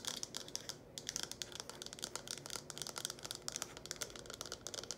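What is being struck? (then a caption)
Small plastic cup tapped with fingernails. Long acrylic nails quickly tap and scratch a small, hollow, empty red plastic cup with a curved lip, held in both hands. Rapid, bright clicks and scratchy ticks come in a dense, uneven stream, with a brief lull just before the one-second mark. Each hit is short and dry with almost no ring, and there is very little low end.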